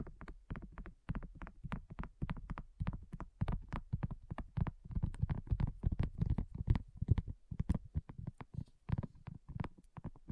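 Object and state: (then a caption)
Silicone coaster. Long nails and fingertips of both hands tap quickly on a flat, round, pink dotted silicone coaster that is thin and solid. The result is a rapid, uneven stream of soft, dull, low thuds, each dying away almost instantly, with very little brightness.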